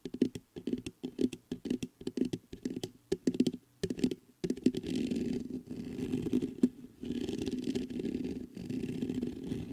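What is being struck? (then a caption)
Metal microphone mesh grille. Fingertips scratch the hollow mesh grille of a black metal USB condenser microphone. First comes a run of short, separate scratchy bursts, then a steadier, continuous rasping rub. The sound is dull and centered in the low mids, with little high end.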